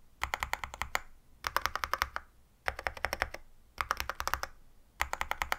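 A compact 65% wireless Yunzii AL66 mechanical keyboard with Milk switches, a silver aluminum case and white and black plastic keycaps, rests on a white desk while fingertips of one hand, then both hands, type rapidly, pressing and tapping the keys. Five quick bursts of about 36 crisp, tightly damped keystrokes in all are separated by short pauses, with a clacky midrange tone around 1 kHz and very short decay.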